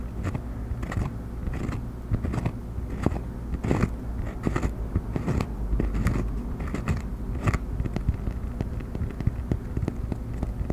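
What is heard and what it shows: A round cork coaster, held edge-up in front of the microphone, is tapped and scratched with the fingernails of both hands. Quick, dry taps and crackly scratches fall in an uneven, steady stream over a low, constant rumble.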